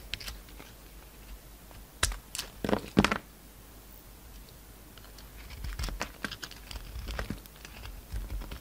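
A utility knife blade scrapes and slices chunks off a palm-sized oval bar of solid pink and white soap with a brown glittery coating. Sharp, dry crackling cuts come in a loud cluster early on, then give way to a softer run of scratchy, crumbly scraping and brief crisp snaps.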